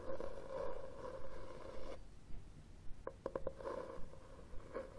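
Fingernails scratch across the red textured cloth cover of a hardcover book held upright. Soft, raspy scratching strokes carry a faint mid-pitched tone, and a short run of quick, sharp ticks comes partway through. The sound stays quiet and close throughout.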